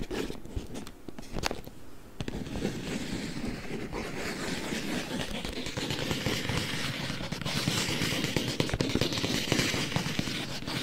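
A long, narrow, hollow printed cardboard box is held close in front of a microphone and tapped with fingertips and nails. The result is a dense, irregular stream of soft, hollow low thuds mixed with crisp, bright clicks and crackles, growing slightly louder toward the end.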